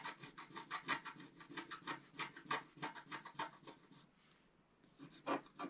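A thin wooden stylus scrapes the dark coating off a flat, thin, roughly A5 scratch-art sheet of coated paper from a scratch book, which lies on a white table held down by one hand. Quick, uneven runs of short, dry, bright scratching strokes come about three per second, broken by a brief quiet gap near the four-second mark before the scratching resumes.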